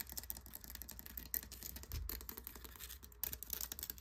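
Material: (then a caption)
Shell. Fingertips and short nails scratch and tap the rough, porous, coral-like surface of a large pale conch seashell resting on a wooden surface. Quiet, rapid dry scratching and bristly rasps with short, clicky taps carry a bright hiss over a soft low rumble, with a few sharper taps standing out.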